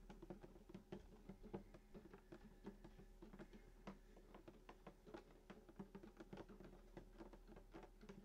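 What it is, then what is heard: Acoustic guitar body tapped. Fingertips tap the wooden top of a hollow sunburst acoustic guitar lying flat, around the bridge and the black pickguard area. A steady run of soft, quick taps each gives a short hollow thump with a low body resonance, dying away almost at once over a faint low hum.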